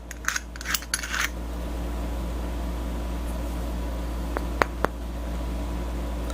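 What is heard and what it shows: A part of a Viair 480 air compressor, confirmed to be aluminum, is handled with a burst of light clicking and rattling, then tapped three times in quick succession. The taps are short, bright metallic ticks around 1 kHz that die away almost instantly over a steady low hum.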